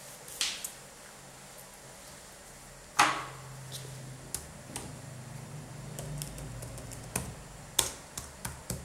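Gloved fingertips press and tap the red-backlit plastic keys of a black Dell laptop keyboard with a hollow key mechanism. Sharp, bright clicks land at irregular intervals, with one stronger clack near the three-second mark, over a faint steady low hum. Each tap is short and dry and dies away almost at once.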